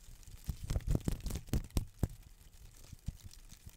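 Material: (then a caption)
Palm leaf. A green palm frond with thin, narrow leaflets is handled and torn with fingers and nails. Quiet, dull, low-heavy rustling and tearing come in a string of short, crisp snaps, most dense in the first two seconds. The snaps then thin out into softer, scattered ticks.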